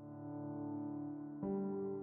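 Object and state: Nothing is struck.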